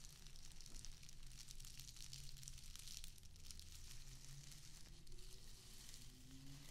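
A small square of plastic artificial grass, held in both hands, has its blades rubbed and scratched with long acrylic nails. The result is a steady, bright crackling scratch with a fizzy, sizzle-like texture over a low, constant rumble.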